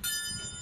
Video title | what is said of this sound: Kompor Gas Kaca VAGANZA | Kalau ting kan ini nyaring, beda.